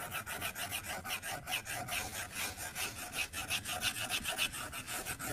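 A plastic stylus tip scribbles coloring strokes across the flat glass screen of an iPad tablet, scratching the glass. Rapid back-and-forth strokes produce a steady, rhythmic train of dry, rasping scratches, bright and hissy, with a faint squeaky tone near 2.6 kHz on some strokes.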